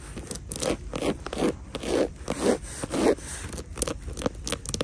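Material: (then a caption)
Straw. Long painted nails scratch and tap the woven straw/raffia front panel of a hanging handbag with white trim and a gold metal horsebit hardware piece; the bag is hollow and appears empty. Dry, crackly scraping strokes repeat at an uneven pace, each a short rustling burst with a mid-range body and a bright edge, separated by quieter gaps.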